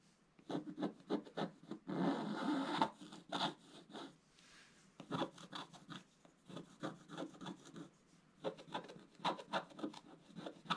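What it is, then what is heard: Scratch-art paper being scratched. A wooden scratch stylus scratches the black coating near the top of a flat scratch-art paper sheet held by the left hand. Quick bursts of short, dry, rasping strokes come in a loose rhythm. A longer continuous scratch follows and then a brief quiet pause before the strokes resume.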